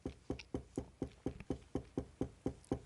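A desk is knocked by hand twelve times in a steady, even rhythm. Each knock is a short, dull, woody thud with a low body that dies away almost at once.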